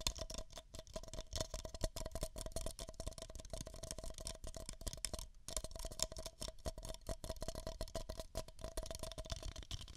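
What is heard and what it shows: Two identical empty, hollow beige paper cups are tapped and scratched with long nails while held against the microphone ears. The result is a dense, rapid stream of crisp clicks and scratchy rustles, with a faint hollow ring around 640 Hz and a low rumble. The sound stops briefly around the midpoint, then resumes.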